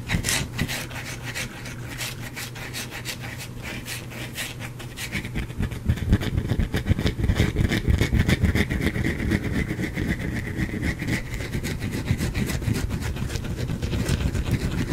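A small, solid white bar of soap, partly carved, is held in one hand and scratched with the fingernails of the other, while pieces of soap fall onto the cloth below. The rapid, dry scratching is steady and rasping over a low, rumbling body, and it grows louder and denser from about six seconds on.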